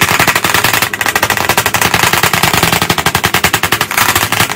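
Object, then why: Chalk on a wood-framed chalkboard. Both hands tap chalk rapidly against the flat surface of a large black chalkboard in a wooden frame. About forty bright, sharp clicks come in a fast, steady stream over under five seconds, with little low end and a short ring after each hit.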